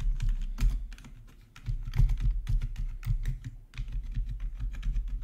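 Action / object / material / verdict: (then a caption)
tap / plastic membrane computer keyboard / plastic / none. A full-size black plastic membrane gaming keyboard with RGB backlight, resting on a marble surface, is typed on with the fingertips of both hands. The result is a steady, irregular run of quick, hollow-sounding taps with a deep, thuddy low end and brief bright clicks on top. Each tap dies away almost at once, with a softer stretch in the first half before the typing picks up again.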